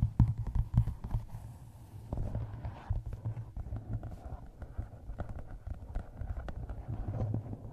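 A hardcover book wrapped in a paper map rests on a microphone while long nails tap its cover and top edge. Rapid, irregular taps come through as deep, dull thumps with a short ring and almost no high end, loudest in the opening second before settling into a steady, softer patter.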